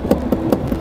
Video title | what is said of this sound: ADORA INDOMOBIL❗️mirip maticnya Jep*ng❗️tapi tipis🫣❗️ | Ketika saya Ketuk itu suaranya tu lebih kayak kerupuk gu ya tipis